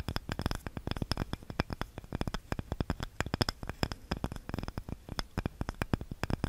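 A small, light, solid wooden cutting board with a handle is scratched and tapped with long nails close to the microphone. The result is a rapid, irregular stream of dense, short, dry taps with a deep low thump and faint bright scratchy edges, with no ring after each tap.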